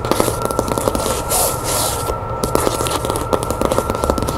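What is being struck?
Cloth-covered hardcover book.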